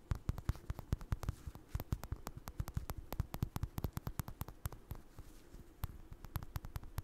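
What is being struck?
Stuffed crocheted yarn toy.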